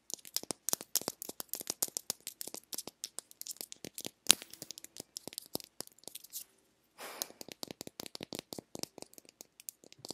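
Long nails tap and scratch the hollow shell of a small pink plastic egg-shaped lip balm container, producing a rapid series of sharp, bright clicks. A brief pause falls just before the seventh second, then a short scratchy rasp before the tapping resumes. Each click is dry and dies away almost instantly, with almost no low end.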